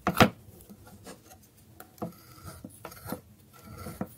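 A solid bar of dry soap resting on a wooden board is scraped with a metal blade. A loud, bright rasping scrape opens the clip, followed by quieter, intermittent scratches and short scraping strokes.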